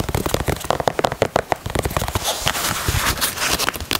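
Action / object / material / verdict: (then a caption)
scrape / knit fabric sneaker upper and heel tab / knit fabric / none. Fingernails scratch and tap the knit upper and heel tab of a grey knit Yeezy 350 sneaker. Quick, dry taps and crackling scratches follow one another with short gaps. The first half has sharper separate taps, and the second half turns into denser, hissier scratching.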